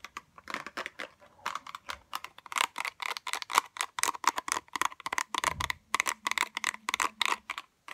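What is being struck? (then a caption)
Small cardboard box with a plastic window. Long acrylic nails tap quickly on a small pink cardboard box of slant-tip tweezers with a plastic window. The clicks come in irregular bursts of short, crisp taps that end almost instantly, with a bright papery tone centered near 1 kHz. A faint low hum runs underneath through the second half.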